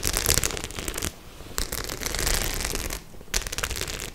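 Long nails and fingertips scratch and tap across a white faux leather clutch bag covered in metal studs. The result is dense, bright, crackly scratching in three bursts, separated by two brief quieter pauses.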